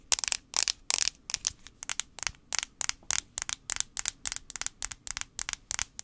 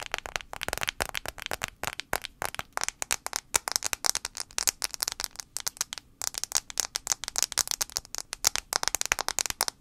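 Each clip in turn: First: Rapid, crisp fingernail clicks on a plastic phone back, bright and dry with no ring at all. Second: Rapid, bright fingernail clicks on a phone's glass screen, each one a dry tick with no ring.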